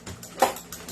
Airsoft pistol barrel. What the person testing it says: Ayan, yan kumakalog, di ba? Ayan, kumakalog.